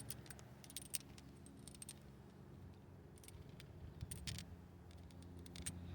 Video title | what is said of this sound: Rough idle on LT1 1993 - 1997 Pontiac Firebird Trans Am and Chevrolet Camaro 1993 - 1997 PCV Value | when you shake it, you can actually hear it moving compared to the original one